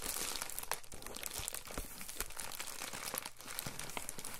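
An Amazon Prime poly bubble mailer, about letter size, padded and holding a small item, is held, then pressed and rubbed flat on a counter with the fingertips. It gives a continuous, dense crinkling with many sharp, bright crackles over a low rustle for the whole clip.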